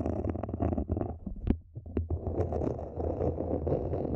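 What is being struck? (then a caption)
Small plastic planter. Long nails on both hands scratch the outer wall of a small matte black hollow plastic mini planter standing upright. The result is a dense, continuous rasping scratch over a deep hollow rumble, with a brief lull around the middle before the scratching fills back in.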